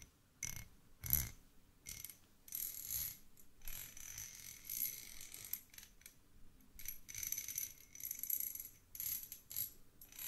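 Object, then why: Two small steel screws. Two small solid threaded steel screws of the same kind, held between fingertips in front of the mic, are rubbed and scraped against each other. Quiet, bright metallic scratching and grinding comes in short bursts, with thin high ringing tones and a soft low rumble underneath.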